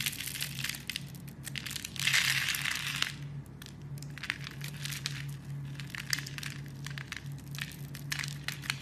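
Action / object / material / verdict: scrape / bar of soap carved with a metal blade / soap / none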